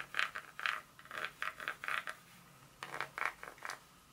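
A long fingernail scratches and taps across the segments of a solid dark chocolate bar held in the hand. It makes a quick series of short, dry, scratchy clicks centered around 1.5 kHz with bright edges, separated by a brief pause midway. Each click dies away almost instantly, with no low-end body and little ring.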